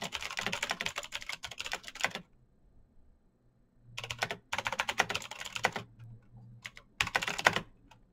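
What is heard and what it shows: Both hands type fast with their fingertips on a black plastic mechanical keyboard with backlit keycaps. Rapid bursts of bright, sharp key clicks come in runs separated by short pauses, each click dying away almost instantly.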